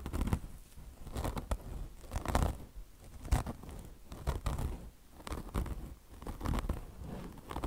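Long blue nails scratch deeply at a beige car wash sponge made of mesh-covered foam with a chenille fringe. The result is rough, scratchy, crinkling bursts that swell and fade in an uneven rhythm, roughly once per second, with a heavy low rumble beneath them.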